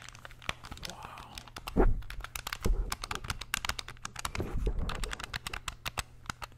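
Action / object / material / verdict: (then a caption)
tap / plastic game controller buttons / plastic / none. A small, hollow, grey plastic wired SNES-style game controller is held in both hands while its buttons are pressed and clicked with the thumbs and fingertips. A rapid, irregular stream of sharp, bright plastic clicks plays over a steady low hum, with a few louder handling bumps and rustles mixed in.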